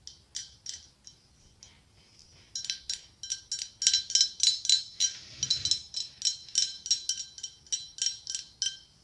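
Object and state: Glass pumpkin tapped with nails.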